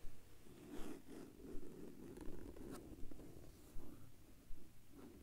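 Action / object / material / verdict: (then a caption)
scrape / plastic binder cover / plastic / none. Fingertips and short nails scratch and tap across the dusty surface of a large, flat black plastic or vinyl binder cover lying on a blue blanket. A soft, low, rumbling scratch runs throughout, broken by brief dry taps that recur at a steady pace, with no ringing afterward.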